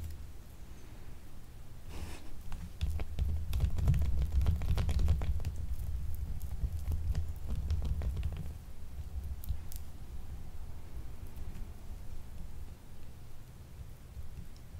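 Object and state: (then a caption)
Glycerin soap bar being scratched. A small, solid, purple faceted gemstone-shaped glycerin soap bar with an already scratched surface is held up and scratched with long nails. Rapid, irregular scratching and rustling sit over a dense low rumble, growing louder from about 3 to 8.5 seconds before settling back to a softer, steady scraping.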